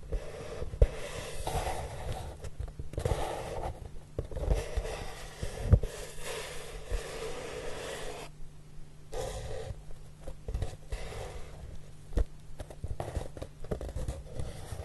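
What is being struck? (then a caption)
Corrugated cardboard box. Fingertips with short nails sweep and rub across the large, flat, hollow surface of a brown corrugated cardboard box. Soft, breathy rustling swishes come in uneven bursts over a steady low hum, with a few faint sharp ticks.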